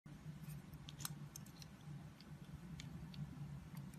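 A box-cutter blade carves and scrapes a solid oval orange soap bar embossed "Love Nature," held in a long-nailed palm, so thin slices peel off. Soft, crisp scraping clicks with short bright ticks sit over a steady low hum.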